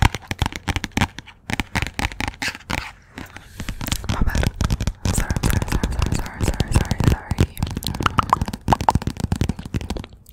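Long nails rapidly tap and scratch the glossy cover and edges of a "Persepolis" paperback book. A dense run of quick, dull, low-heavy taps is broken by softer stretches of rasping scratches before the tapping picks back up.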